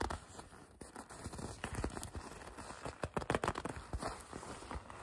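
Long red nails and fingertips pinch, grip and rub the sleeve of a red leather jacket. It produces soft, quiet creaks, squeaks and dull scratchy rustles with short sharp bursts. The sound is mostly in the low and middle range, and each burst dies away almost at once.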